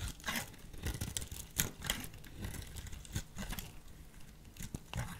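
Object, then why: Bar of soap. A solid lilac soap bar, held in a hand with long purple nails, is carved into fringes with a small metal blade. Dry, crisp scraping and tearing sounds come in short, uneven bursts with a crumbly crunch, bright at the top with some soft low thumps underneath.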